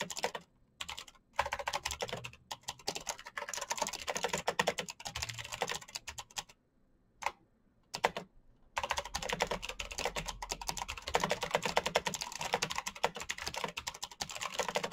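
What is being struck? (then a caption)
Plastic mechanical keyboard. A black plastic mechanical gaming keyboard with blue backlight is typed on quickly with the fingertips, giving dense, bright clicking keystrokes in continuous bursts. Brief pauses break the typing near the start, and a longer one falls around the middle before steady fast typing resumes to the end.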